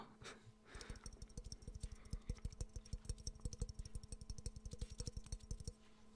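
Fingernails tap quickly and unevenly on the glazed surface of a hollow, empty yellow ceramic Pikachu mug close to the mic. The taps come as a rapid, irregular run of short, dry clicks with a low body and almost no ring, over a faint steady hum, and fade out near the end.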